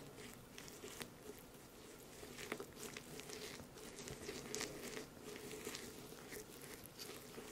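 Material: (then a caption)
Pressed powder. A makeup brush with a silver ferrule and white handle mashes and scratches through pink shimmery pressed-powder highlighter, solid and dry-to-crumbly and broken into chunks and powder, crushing it against a small white octagonal dish. Quiet, gritty crunches and brief sharp clicks come over a steady bright scratchy hiss with a faint low-mid tone.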